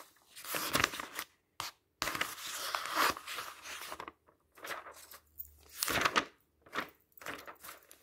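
Fingertips flip the thin paper pages of an open magazine lying on a table. The pages rustle and flap in a series of short, bright bursts separated by brief silences.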